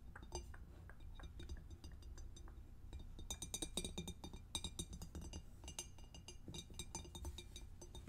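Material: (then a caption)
Glass, plastic. Long acrylic nails tap rapidly on the clear lid, which may itself be plastic, and on the sides of a closed, empty, medium rectangular two-compartment glass food storage container with a plastic snap lid and blue plastic locking tabs, lying on a white table. The result is a dense run of light, sharp clicks and bright clinks that fade almost instantly, over a steady low hum. The tapping grows busier and louder in the middle.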